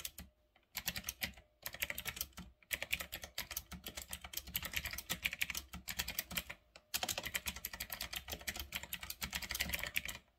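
Fingertips type fast on a full-size, retro typewriter-style mechanical keyboard with round black plastic keycaps on a metal-look frame. Bursts of bright, crisp clicks and clacks come in quick runs, with short pauses between them. Each keystroke is sharp and dies away almost instantly.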